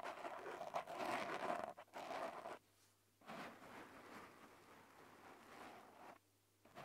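Painted medium-length fingernails and fingertips of both hands scratch and rub a small, soft black open-cell foam windscreen over a handheld recorder's microphone. Dense, scratchy rustling and crunching fills the mids and reaches bright, loudest in the first two seconds. It stops in two near-silent pauses, then resumes more softly.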